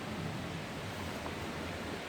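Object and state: Nothing is struck.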